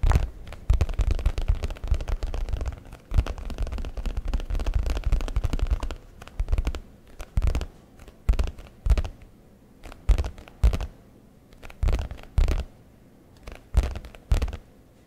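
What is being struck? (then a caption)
Leather satchel flap. Fingertips tap and scratch the flap of a brown leather messenger bag held close to the microphone. For the first six seconds there is a dense, continuous rustling scratch, followed by sparse, separated dull thumps with short decays. The sound is strongly weighted to the low end, with almost no high content.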